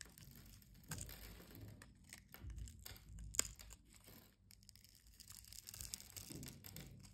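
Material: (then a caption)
Soap. A metal utility-knife blade scrapes across the grid-scored surface of a solid brown soap bar held in the palm, breaking it into small cubes. The result is a quiet, continuous crumbly crackle and crunch with bright, gritty scraping, with a few sharper snaps standing out.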